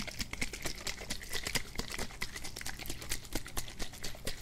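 A hand-sized green plastic Febreze-style spray bottle, hollow and partly filled with liquid, is held in one hand and shaken close beside the mic. The liquid sloshes in quick, uneven bursts of bright, splashy clicks over a steady low rumble.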